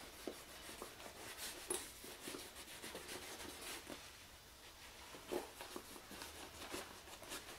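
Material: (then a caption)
Leather. Fingertips holding a white cloth rub conditioner into the surface of a medium, soft black leather shoulder bag that looks hollow and empty and lies on a wooden chair. The rubbing makes a quiet, steady bright swishing hiss, broken by soft scuffs and light taps as the cloth drags across the leather.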